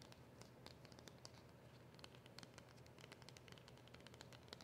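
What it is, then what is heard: Cardboard packet. A small, flat, dark cardboard packet for a silver polishing cloth, with a round printed label on the front, is tapped and scratched with long acrylic nails. Quick, light clicks and bright scratchy ticks sound over a steady low rumble, and each tap dies away almost at once.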